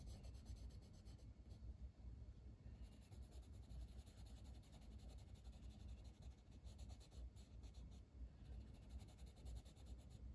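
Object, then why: Paper coloring book page with wooden colored pencil. A dark green wooden colored pencil is rubbed across the flat paper page of a coloring book in short strokes. The result is a soft, continuous scratchy rasp of lead on paper with a steady low rumble and faint bright hiss throughout.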